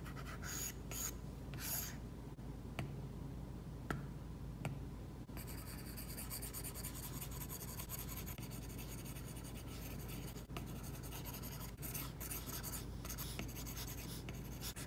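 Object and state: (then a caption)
Stylus on matte screen protector. A plastic stylus tip makes rapid rubbing shading strokes across an iPad glass screen covered with a matte plastic screen protector. The result is a steady, soft scratching rub, with bright, papery bursts of texture over a constant low background hum.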